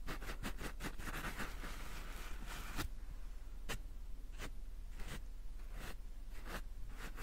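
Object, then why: Paper towel roll. Long painted nails scratch and tap the soft, quilted surface of a large white embossed paper towel roll with a cardboard core, held upright. Quick, dense, papery scratching fills the first few seconds, then gives way to sparse, sharp taps with bright, crisp clicks over a steady low hum.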